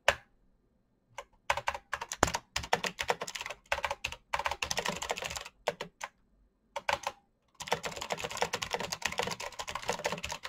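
Fingertips type on a full-size black plastic Razer mechanical keyboard with clicky green switches and RGB backlight. Fast bursts of sharp, bright clicks come in quick runs separated by short silent pauses, ending in a long, dense stretch of continuous typing. Each click is crisp and dies away almost instantly.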